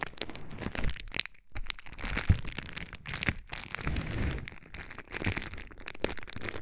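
Fingertips and nails squeeze and pop the air bubbles of a sheet of clear plastic bubble wrap held against the microphone's ear. Sharp cracks and snaps come one after another over a constant crinkling, with a heavy low, close thump under each press.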